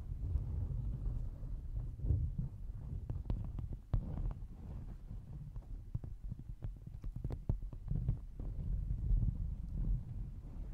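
Fingertips and nails of both hands scratch the sequined rim of a small, hollow, empty fabric pouch covered in silver and gold plastic sequins. Many quick, sharp scratchy clicks and ticks, some reaching bright highs, sit over a steady low rumbling bed of sound. The scratching continues at an even level throughout.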